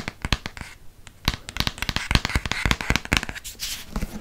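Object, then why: Hardcover paper book spine. A hardcover paper book is held sideways while fingernails tap quickly along its spine. The result is a rapid, irregular run of sharp, dry clicks with a bright edge and a soft low thud underneath, each dying away almost instantly, with faint scratchy rustling between taps.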